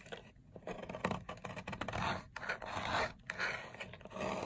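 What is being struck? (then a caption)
Bar of soap scraped with a blade. A box-cutter blade repeatedly scrapes and cuts a long, solid, dry teal-green soap bar resting on a white surface, shaving it into crumbly flakes. The crisp, crunching scrapes come in quick, irregular strokes with dry, broadband texture and no ring between them.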